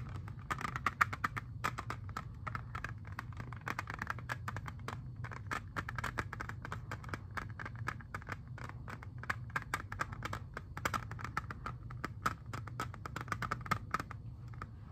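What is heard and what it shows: Fingernails tap and scratch rapidly on a hand-sized, hollow clear plastic CD jewel case holding a blue-labelled disc, held in both hands. Dense, crisp clicks carry a hollow plastic tone, with brief scratchy passages between them. A steady low rumble runs underneath throughout.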